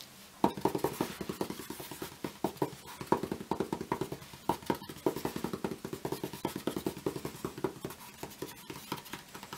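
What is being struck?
Fibreboard picture frame backing panel.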